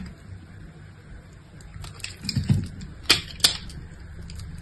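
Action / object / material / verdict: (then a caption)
scrape / soap bar cut with a knife / soap / none. An orange-handled utility knife cuts and scrapes a hand-sized solid pink bar of soap, held in one hand and scored in a crosshatch pattern, shedding small soap cubes and flakes onto a pile. Soft scraping and low crumbly thuds build to a few sharp, bright crisp clicks as cubes snap free, over a quiet hiss.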